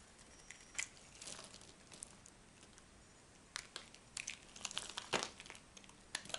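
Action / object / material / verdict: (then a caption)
scrape / bar of soap scraped and chipped with a small knife / soap / none. A partly carved, solid orange-and-white striped bar of dry soap is held in the hand and scraped and chipped with a small metal knife, and the chunks fall onto a pile of soap shavings. Quiet, dry, bright crinkling scrapes and sharp crackly snaps come in scattered bursts, with almost no low end and very little ring after each cut.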